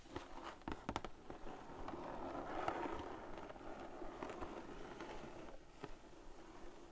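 Fingertips and long painted nails tap and patter across the lid of a large, flat, printed cardboard sequin art kit box lying closed on a table. The soft, hollow taps come at an uneven pace, with a few sharper clicks standing out over a dull, low-mid rustling patter. The sound fades slightly toward the end as the hands move away.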